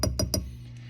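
Old Ruby glass vacuum tubes rattle inside a Fender Hot Rod Deluxe tube guitar amplifier, giving three quick glassy, ringing clinks over a steady low hum. The tubes are mechanically noisy (microphonic), though that is not necessarily the amp's fault.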